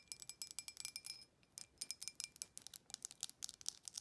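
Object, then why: Embossed glass drinking tumbler. Long acrylic nails tap the rim and sides of a clear, empty embossed glass tumbler held in the hand. About 25 quick, bright, high-pitched clinks come in a fast run, with a brief pause in the middle. Each tap is dry and dies away almost at once, with no low end.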